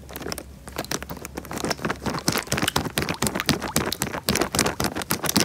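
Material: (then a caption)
Plastic. A small clear plastic bag full of water is crinkled and squeezed by fingertips close to the microphone. Dense, irregular bursts of bright plastic crackling and crinkling come in quick succession, with soft watery squish underneath and a faint steady low hum.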